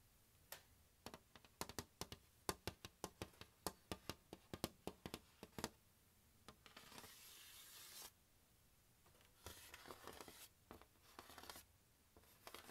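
Fingertips and nails tap and scratch the aluminium bars of an open glockenspiel mounted in a turquoise plastic case. Quick, sharp, quiet taps with almost no ring fill the first half, followed by stretches of raspy scratching over the metal bars with a few more taps in between.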